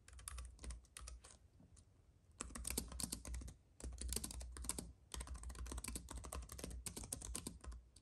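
Fingertips of both hands type rapidly on a compact white keyboard with plastic keys on an aluminium base, resting on a fuzzy mat. Quick, bright, clicky key taps come in dense bursts separated by short pauses, with a low rumble running under each burst.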